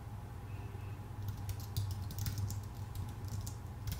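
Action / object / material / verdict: tap / aluminum and plastic computer keyboard / plastic, aluminum / none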